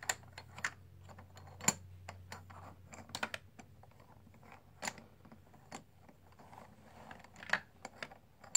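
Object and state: Plastic poker chips clicking together.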